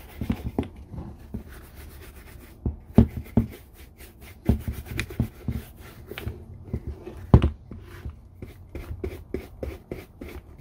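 A brown leather Red Wing Iron Ranger boot, held hollow and empty in one hand, is brushed back and forth with a red-handled horsehair brush. The result is an irregular series of soft, low, muffled scrubbing strokes with quick bristly swishes, some strokes louder than others.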